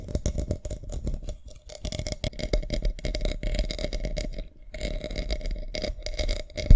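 Long nails scratch across a small round decorative box covered in white pearl beads and flower gems, hollow with its lid on. The result is a dense, rapid run of rattling, scratchy clicks with a steady hollow resonance underneath. It pauses briefly twice and ends on a sharper, louder scrape.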